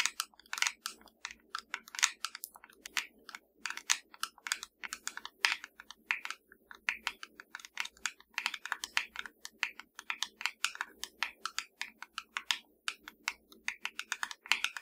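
Long dark fingernails on both hands tap rapidly across a small, hollow, black plastic fireplace remote control lying flat. The sound is a dense, irregular stream of sharp, bright clicks centered near 3.7 kHz, with no low end. Each tap stops almost instantly, with no ring.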